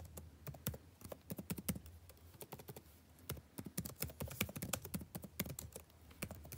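Fingertips type continuously on the blue-backlit plastic keycaps of a dark laptop keyboard, producing a rapid run of short, crisp clicks with a soft low thud beneath each keystroke. The tapping comes in quick bursts with a brief lull near the middle, and each tap dies away almost instantly.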